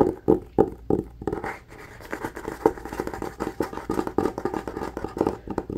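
Short nails scratch fast on the textured cloth cover of a solid red hardcover book held upright. The result is a rapid, uneven run of dry scratching bursts, centered in the low midrange with little bass, each stroke cut off with no ring.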